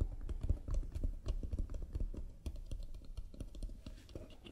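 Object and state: Painted wooden box tapped with fingernails.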